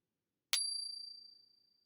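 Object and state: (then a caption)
Genuine silver round. An authentic 1 oz silver round, bought from a reputable company, is pinged once in a Pocket Pinger coin tester. A sharp strike gives a long, clear, bell-like ring with a high tone and a fainter overtone, fading over about 1.4 seconds. The long ring marks it as genuine silver.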